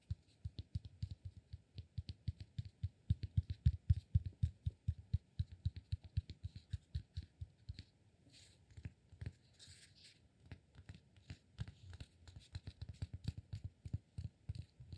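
A solid cork block held between both hands is tapped and scratched along its sides by fingertips. Quick, dull, low taps with very short decay come in an irregular run of about four per second. They pause briefly for softer scratching near the middle, then resume more quietly.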